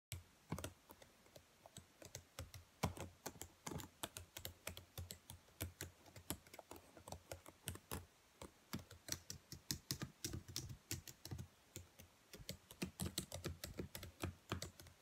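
Long, pale-painted fingernails and fingertips tap and type on the black plastic chiclet keys of a dark laptop with a hollow body. The result is a steady stream of short, dry clicks that die away almost instantly, each with a bright tick on top and a low, hollow thump underneath.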